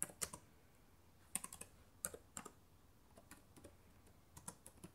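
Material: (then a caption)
Plastic. Fingertips and long nails type on the plastic keys of a black laptop keyboard, producing 13 short, bright clicks in irregular bursts with quiet gaps between them. Each tap is crisp and dies away almost instantly.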